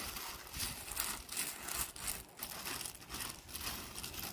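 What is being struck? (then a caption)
Small gravel pebbles. Gloved hands sweep and level loose, small tan gravel landscape rock in a strip between pavers. The sound is a bright, crunchy rubbing and scraping of pebbles, coming in a steady series of uneven strokes with little low end.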